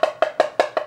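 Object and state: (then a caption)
Hollow-sounding floor tile. A ceramic floor tile is tapped six times in quick succession while being probed to locate the hollow-sounding part. Each tap gives a short, dry, woody knock with a hollow tone around 630 Hz. The spot where it starts to sound hollow is marked with a pen.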